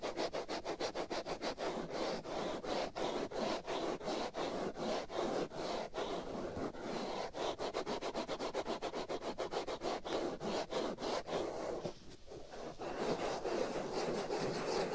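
Fingernails scratch and rub a hollow black foam windscreen pulled over the right ear of a binaural microphone. Rapid, steady strokes make a dense, raspy scratching texture centered in the low mids with some brighter hiss, about three strokes per second. It pauses briefly near the 12-second mark, then continues.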